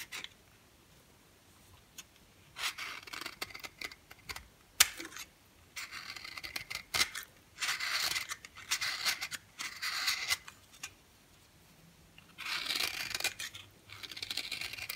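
A yellow oval bar of dry solid soap is held in the hand and scraped with a green box cutter blade. Bursts of bright, crisp scraping and shaving come in uneven stretches, with a few sharp clicks and quiet pauses between them.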